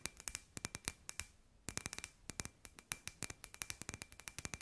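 A hand-sized, hollow clear glass sphere lamp with LED fairy lights inside is tapped with long grey nails. About thirty-three quick, bright clicking taps come in irregular bursts, with a brief pause near the middle. Each tap is sharp and high with almost no ring.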